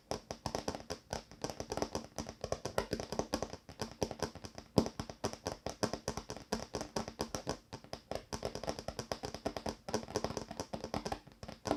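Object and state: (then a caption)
Wooden table top. Fingertips or nails tap steadily on a wooden table top in a rapid, uneven stream of short, dry knocks. Each tap dies away almost instantly, giving a soft, woody tone with a low body around 215 Hz and light bright clicks on top.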